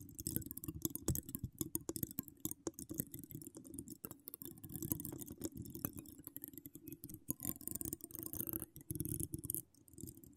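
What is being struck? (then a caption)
Woven metal mesh microphone grille scratched and tapped with long nails. Long acrylic nails decorated with charms scratch and tap across a hollow woven metal mesh microphone head with no cover. The result is a dense, continuous run of quick scratchy taps and clicks, heavy in a low rumbling band with a faint bright hiss above, each tap dying away almost instantly.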